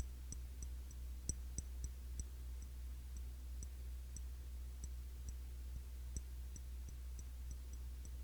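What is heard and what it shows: Light fingertip tapping on the glass body of a cologne bottle, a Classic Match clone of YSL Y, produces a steady run of quick, bright ticking clicks. The taps are soft and short, with almost no ring. A constant low hum sits underneath.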